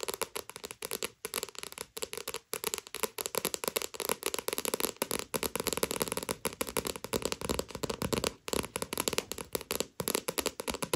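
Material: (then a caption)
Paper. Long fingernails rapidly tap and scratch the glossy paper cover of a paperback manga. The result is a dense, crackly stream of quick, dry clicks and bright scratchy rustling, broken by a few brief pauses. Each tap stops almost instantly, with no ring.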